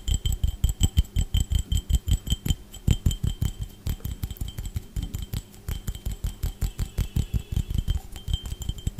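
A clear, empty, hollow drinking glass held near a microphone is tapped and scratched with fingertips and nails. The result is a fast, uneven stream of dull, low, close thumps with faint scratching and a thin, bright ring above them.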